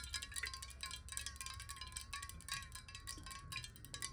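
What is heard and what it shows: Long nails tap quickly along the side of a tilted clear glass bottle with water inside. The result is a steady stream of bright, glassy clicks over a ringing tone near 1 kHz that wavers slightly in pitch, with a faint low rumble underneath.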